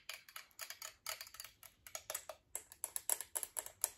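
Long acrylic nails tap rapidly on a chrome-plated metal alarm clock with twin bells and a hollow casing, making about two dozen quick, bright clicks. Each tap dies away almost at once. The later taps carry a faint high metallic ping.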